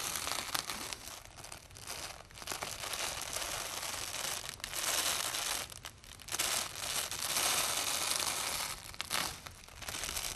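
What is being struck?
Nylon velcro tape.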